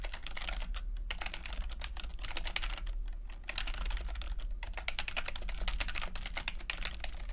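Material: Plastic.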